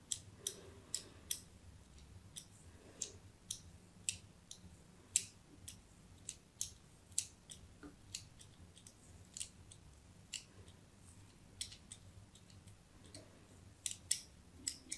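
A thin metal blade scratches crosshatched grooves into a hand-sized solid white bar of soap with an embossed logo. The result is a quiet run of short, bright, dry scraping ticks that stop almost instantly, with a low hum underneath.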